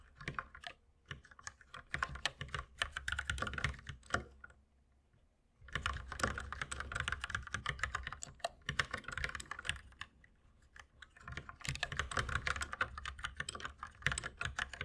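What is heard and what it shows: A compact white mechanical keyboard with plastic keycaps on a wooden desk is typed on steadily with the fingertips of both hands. Rapid, dry, clacky keystrokes come in dense bursts with a bright click and a low thud, broken by short pauses around the 5-second and 10-second marks.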